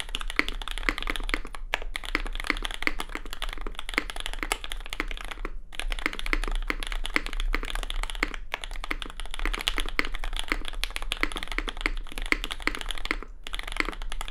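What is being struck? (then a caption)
Mechanical keyboard with plastic keycaps and aluminium plate. A compact red custom mechanical keyboard with plastic keycaps, an aluminium plate and lubed SP Star Sacramento switches is typed on rapidly with the fingertips of both hands. Dense, fast clacky keystrokes with a bright, crisp top run almost continuously, broken by a few brief pauses, over a steady low hum.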